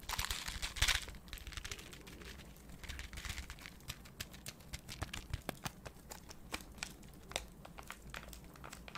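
A small Peta Zeta popping-candy sachet of printed foil-lined paper is held up, crinkled and squeezed close to the microphone with fingertips and painted nails. A loud, bright crinkling burst near the start gives way to steady crackling, with many sharp, short clicks and snaps over a faint low rumble.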